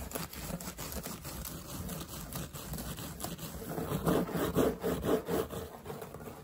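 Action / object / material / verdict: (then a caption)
scrape / woven straw hat / straw / none. Fingertips and short nails rapidly scratch and tap a wide-brim woven straw hat with a fabric edge trim, worn on the head. The dry, rustling scrapes and soft taps run in a quick, uneven rhythm throughout. They grow louder and fuller in the second half before easing off.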